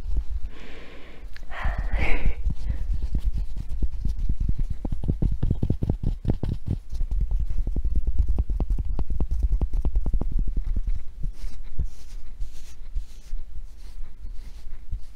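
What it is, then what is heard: Tennis ball tapped with fingernails. A blue and yellow felt tennis ball with a hollow rubber core, held in one hand, is tapped and scratched with long painted nails. A brief soft scratching opens the clip, followed by a long run of rapid, dull, low thuds that blur into a steady muffled patter. Fainter, airier scratches mix in toward the end.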